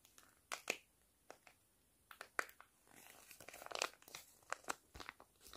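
A flat sheet face mask sachet made of foil-lined plastic is crinkled, squeezed and scratched with fingers and nails. Sharp, bright crinkles and crackles snap out in short bursts, with a busier stretch of continuous rustling partway through. The sound is quiet, with almost no low end.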